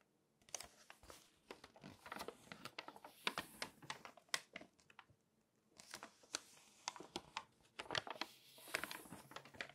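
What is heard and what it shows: Long-nailed fingertips tap and scratch the glossy paper pages of an open magazine and flip through them. Crisp, bright nail clicks and papery crinkles come in quick, quiet bursts, with a short pause near the middle. Each click dies away almost at once.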